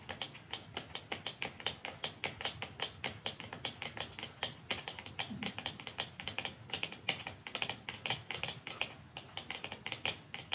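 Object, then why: Small cardboard box. Long nails tap along a small, narrow, dark cardboard mascara box lying flat, with a second identical box lying nearby untouched. A steady run of quick, light, dry clicks follows for the whole clip, each bright and crisp and dying away almost at once, over a faint low background hush.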